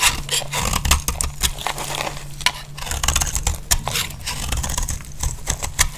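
A utility-knife blade shaves flakes from the face of a dry, solid pink Deep Fresh soap bar held in hand. Quick, dry scraping and crackling strokes follow one another, each bright and short with almost no ring. A steady low hum runs underneath.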